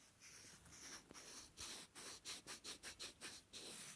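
Two small, solid, light wooden blocks are held together and rubbed and scratched against each other with fingers close to the mic. A soft, airy scraping starts the clip, then breaks into a quick, uneven run of short, bright, hissy strokes that fade quickly.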